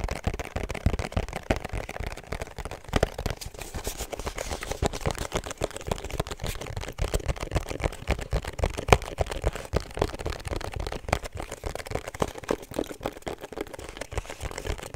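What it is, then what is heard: Cardboard perfume box. Long nails tap and scratch a small, rigid, hollow pink cardboard perfume box with a black ribbon and black seal. The result is a steady stream of quick, irregular, dull taps with a hollow low body, mixed with soft scratchy rasps. Each tap dies away almost instantly.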